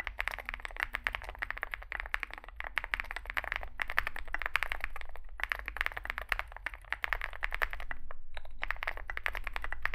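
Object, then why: Aluminium-cased mechanical keyboard with plastic keycaps. Both hands type continuously with their fingertips on a compact 65% Zoom65 mechanical keyboard with an aluminium metal case, foam filling, lubed switches and SA plastic keycaps, resting on a desk mat. A dense, fast stream of short, dry clacks centred in the mids rings out, with brief pauses between bursts. A low rumble runs underneath throughout.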